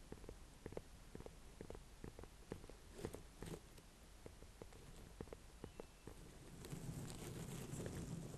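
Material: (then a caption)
Pumpkin rind. A small ribbed orange-and-cream ornamental pumpkin with a firm rind, held in both hands, is tapped with fingertips and long painted nails. The taps are quick, soft and irregular, with low hollow thuds and short dry clicks. Near the end a louder, brighter rustling swells in.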